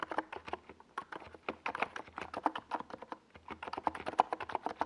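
Fingertips of both hands type steadily on a compact 68-key NiZ Plum Atom 68 plastic mechanical keyboard with a white plastic case and tall purple and yellow Domikey Gas Attack SA plastic keycaps, resting on a desk pad. Dense, quick clacky keystrokes sound with a mid-pitched tone around 750 Hz, each dying away almost instantly, with a faint low hum underneath.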